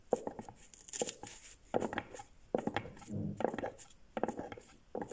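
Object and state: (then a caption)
Cardboard gift box, hollow. A small closed rectangular cardboard gift box with a dark grey base and a red-and-white striped lid, likely hollow and empty, is rubbed, gripped and tapped by latex-gloved fingertips on a wooden desk. Short dull taps with a hollow midrange ring, around 500 Hz, alternate with soft scraping and rubbing rustles. The sound is quiet and close.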